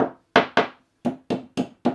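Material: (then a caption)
Fibreglass. A tapping stick strikes the white, colour-changed area of an old fibreglass repair laminate on a boat, giving seven short, dull thunks with a midrange knock and almost no ring. The taps sound dead, showing that this part of the repair has come unattached.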